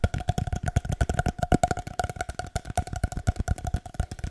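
A long, hollow, empty cardboard paper towel tube is tapped rhythmically with the fingertips, giving a quick, uneven run of about 32 dull, low, hollow thumps over four seconds. Each tap dies almost instantly, leaving only a faint resonant tone ringing through the series.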